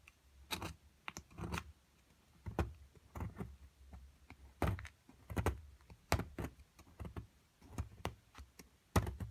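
A metal chisel chips and scrapes at a solid plaster excavation block, and the flakes pile up. Short, dry, irregular knocks and scratchy scrapes come in bursts, with a low thud in each strike and brief bright crackle on top. The hits die away almost at once.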